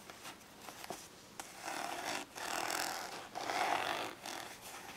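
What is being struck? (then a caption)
Ridged plastic storage case. Long nails scratch along the textured side of a small, hollow, glossy orange ridged plastic storage case held on its side. A few faint ticks come first, then long, raspy scratching passes with a bright, hissy edge and a slight hollow tone around 800 Hz. There is almost no low end.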